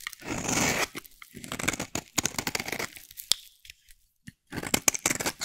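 A solid rectangular dry yellow soap bar, held in the hand, is shaved into fine curls with a metal utility blade. A long, dry, crunching scrape opens the clip, followed by bursts of short, crisp, bright scraping crunches separated by brief silences.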